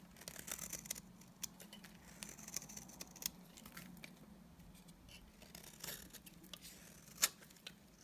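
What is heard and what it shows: A solid, dry white bar of soap has its face scraped with a utility knife blade. Quiet, bright scratchy strokes come in uneven bursts over a low steady hum, with sharper clicks near the middle and a loud scrape toward the end.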